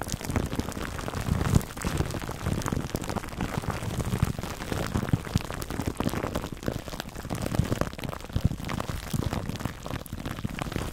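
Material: Plastic film.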